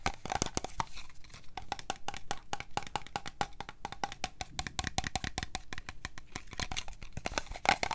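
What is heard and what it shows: A hand-sized, cream-coloured plastic body lotion bottle with a paper or plastic label and a printed cap, hollow and apparently holding product, is tapped and scratched with long fingernails around its sides and label. The result is a rapid, steady stream of short, dry clicks with a faint hollow ring near 770 Hz, mixed with bright scratchy rasps, and each tap dies away almost at once.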